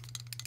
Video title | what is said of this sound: Zippo Beginner Guide Tutorial The Instructions Zippo Doesn’t Tell You | when you shake it ... it beats off the insert or rattles off the insert